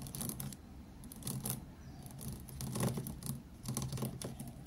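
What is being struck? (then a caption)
Plastic felt-tip markers tapped with fingertips. A row of thin, hollow plastic felt-tip markers lying on a desk mat is tapped and drummed with fingertips. It makes quick, soft clicks that come in bursts, with bright ticking edges over a low, dull body. The taps blend into an uneven pattering rhythm.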